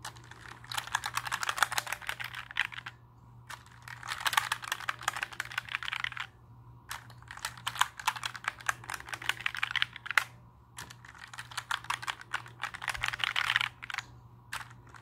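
A compact black plastic mechanical keyboard is held up while fingertips press and rub across its plastic keycaps. Rapid, bright clicking taps come in four busy bursts separated by brief pauses, over a faint steady low hum.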